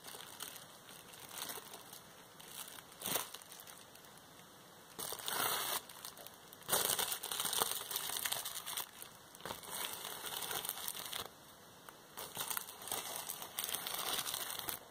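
A large, clear plastic bubble wrap sheet and roll of hollow air bubbles is pressed and crinkled with the palm and fingertips. The result is dense, irregular crinkling and crackling, bright and thin with almost no low end. Louder bursts come around the middle and toward the end, with quieter rustling between them.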